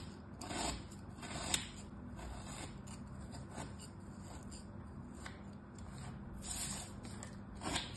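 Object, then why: Packed kinetic sand shape cut with a thin metal tool. A flat, solid, packed kinetic sand star is cut into strips with a thin metal tool, and the strips are pushed apart with fingertips. Soft, grainy scraping and crumbling run throughout, with a few brighter scratchy bursts over a quiet, low background rumble.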